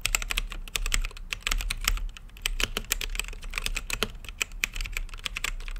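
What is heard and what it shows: Fingertips type continuously on a plastic mechanical keyboard with plastic keycaps on a translucent acrylic case. The result is a fast, dense stream of short, bright clicking keystrokes with very quick decay over a steady low hum.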